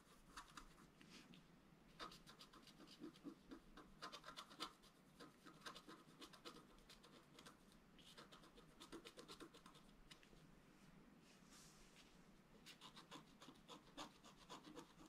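A wooden stylus scratches lines near the bottom of a flat, black-coated scratch art paper board. Quiet, dry, rasping scratches come in short, uneven bursts across the clip, with a bright papery hiss and a midrange scrape focus around 1.3 kHz.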